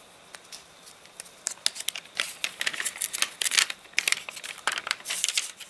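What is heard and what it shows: Hands handle a rain-dried paper catalogue with stiff, crinkled pages, turning a page, rubbing a palm across it, then lifting and crinkling another page. Dense, bright crackles and crinkles come in quick irregular bursts that build louder toward the middle, with no low end and almost no ring after each snap.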